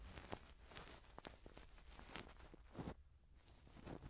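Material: Silicone.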